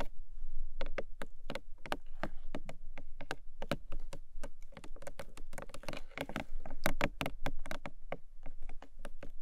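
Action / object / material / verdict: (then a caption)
tap / cardboard box / cardboard / none. Long nails tap and scratch across the top of a long, narrow, hollow printed cardboard gift box. Quick, sharp taps follow one another in an uneven rhythm, each with a short, dull, hollow thud and a bright click, while softer scratching fills the gaps between them.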